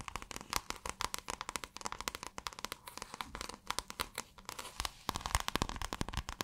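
Long acrylic nails scratch quickly over a folded or rolled piece of pale blue, scale-textured iridescent fabric. The result is a dense run of short, dry crackling scratches, each snapping off almost instantly. The sound is bright and papery, with some low thump underneath.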